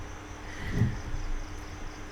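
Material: Nothing is struck.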